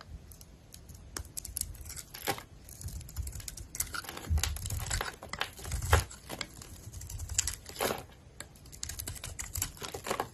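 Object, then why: Bar of soap. A hand-held solid oval bar soap with a green speckled coating and a white core is shaved by a box-cutter blade, peeling off curls. The clip is full of dry, crinkly scraping and tearing sounds with bright crackle and short, sharp cuts.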